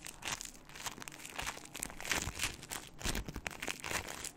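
A small lump of pink crunchy floam, foam beads mixed into slime, is held in both hands in front of a microphone and squeezed and crunched with fingertips and long nails. A steady run of dense, bright crackling and crinkling pops continues throughout, with short sharp bursts and soft low thumps underneath.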